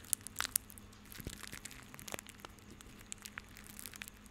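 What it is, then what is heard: Plastic rope bundle. A small bundle of white plastic rope is held in both hands and crushed and rubbed with the fingertips. It gives a quiet run of dry, bright crinkles and crackles, with a few sharper high snaps near the start. Each sound dies away almost at once.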